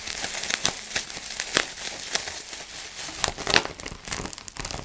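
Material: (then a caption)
Plastic. Fingertips squeeze, crinkle and pop the bubbles on a clear plastic bubble wrap sheet. The sound is a steady bright crinkling broken by sharp, quick snapping pops, with almost no low end and no lingering ring.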